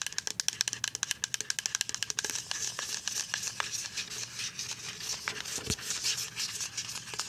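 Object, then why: Plastic pump bottle of liquid soap. A full white plastic pump bottle of liquid hand soap is tapped with paper-clip nails along its label. Quick, sharp, bright clicks come in a steady run at first, then blur into denser, scratchy crinkling taps. Each hit is dry and dies away at once, with almost no low end.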